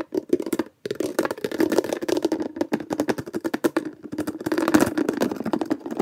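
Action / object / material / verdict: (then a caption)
tap / small plastic bin with fitted lid / plastic / none. A small hollow blue plastic bin with a fitted plastic lid is held against the body while fingertips press, snap and lift the lid. Fast, dense clicks, pops and taps come in quick bursts with a hollow, boxy mid-range tone, briefly stopping before starting again.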